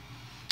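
Cooled, deep-fried chopped garlic is stirred, and after a faint low hum it gives a single short, bright crackle near the end. The crisp, high-pitched click shows the garlic is fried dry and crispy.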